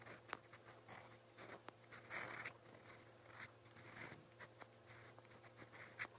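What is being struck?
Steel pen nib on a paper notebook page.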